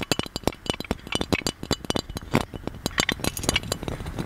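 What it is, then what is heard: Gold-plated metal lamp. Fingernails tap the handle, lid and body of a gold-plated metal magic lamp held up in the air. The result is a quick run of bright, clinking metallic taps with very short ring and a faint low rumble underneath.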